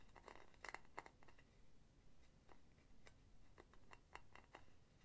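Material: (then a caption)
Metal. Long painted nails tap and scratch the solid metal base of a hollow, empty silver metal mesh pen holder, which has felt pads, close to the mic. Quick, bright metallic clicks come in clusters over soft scratching, each dying away almost at once with barely any ring.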